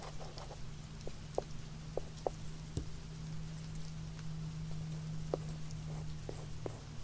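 Fingertips and the rubber eraser end of a pencil tap on a small, hollow, zippered hard-shell earphone case with a glossy carbon-fiber-pattern shell, held in the hand. Light, short, hollow taps with a muted pitch come at irregular intervals, each dying away almost at once. A steady low hum runs underneath.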